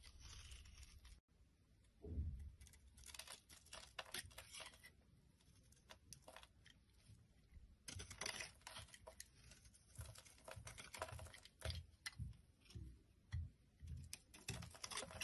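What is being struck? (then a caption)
Bar of soap. A solid blue Arko bar of soap, held in both hands, is scraped and shaved with a metal blade. Repeated crisp, crumbly shaving strokes with a bright hiss ring out over low, soft handling thumps, with a brief silent gap near the start.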